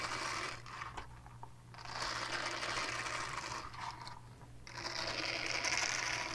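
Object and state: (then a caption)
Silicone cleansing pad scratched with nails. Long nails scratch the textured side of a small purple silicone cleansing pad, making bright, hissy scraping strokes in quick, uneven bursts. The scraping swells and fades over a steady low hum, dropping to quieter pauses between passes.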